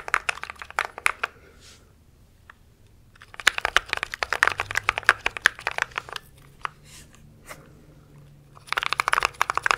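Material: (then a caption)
Plastic. A compact mechanical keyboard with plastic keycaps is held close to the mic while fingertips type rapidly across the keys. Quick bursts of crisp, bright clacks with very short decay are separated by quiet pauses, and a final flurry of fast typing closes the clip.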